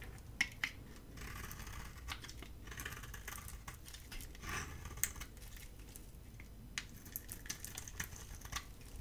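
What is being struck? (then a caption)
Bar of soap scraped with a metal blade. A hand-held, dry, solid oval bar of soap with a blue coating and cream core is shaved and scraped with a metal utility blade. Crisp, bright scraping rasps mix with sharp little clicks and ticks over a steady low background rumble.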